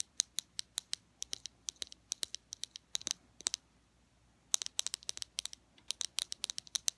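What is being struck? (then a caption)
Small glass cosmetic bottle. A small clear glass foundation bottle with a black square cap, filled with beige liquid, is held up and tapped with fingernails. The result is a quick, irregular run of crisp, high-pitched clicks with almost no ring, pausing for about a second before the tapping picks up again.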